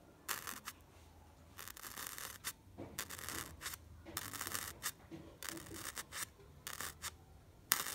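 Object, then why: Styrofoam block and pencil tip. The sharp tip of a blue wooden pencil is poked repeatedly into a white, solid styrofoam block with a bead texture, leaving small holes. Each poke gives a bright, scratchy, squeaking crunch, coming in short bursts and quick clusters with quiet gaps between.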